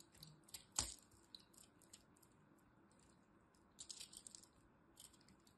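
A dried lilac soap bar held in the hand is cut with a small metal blade, breaking off brittle pieces. Quiet, bright crackling and scraping ticks are heard, with one sharp snap near the start and a denser cluster of crisp crunches later on.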